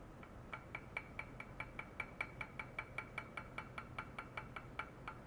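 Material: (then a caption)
Stainless steel. A small, hollow, empty stainless steel cup with side handles rests on a white mesh pad with a probe clipped to its rim and is tapped on the inside with a long white rod, as low-frequency stimulation for controlling ultrasound. About 25 quick, steady taps each give a short metallic clink with a ringing tone near 2.3 kHz and bright overtones that fade almost at once, over a faint low background hum.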